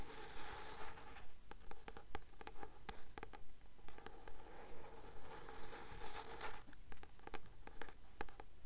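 Long nails tap and scratch the glossy card front cover of a blue paperback novel, "The Titan's Curse," held upright. The solid paper book gives a steady, even rhythm of soft, dry taps, about 140 per minute, with short scratchy strokes between them that die away almost at once.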